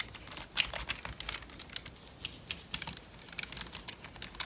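Gloved fingertips type quickly on the keys of a full-size, hollow black plastic membrane computer keyboard. The result is a fast, irregular run of short, dry, bright clicks and taps with almost no low end and no ring after each keystroke.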